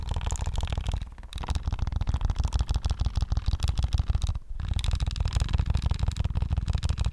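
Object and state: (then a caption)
Plastic game controller. A white and black PS5 DualSense controller, a handheld-size hollow plastic shell, is tapped quickly with fingertips and short nails close to the mic. The result is a dense run of fast, hollow, low-pitched thuds with faint clicky ticks, broken by two brief pauses.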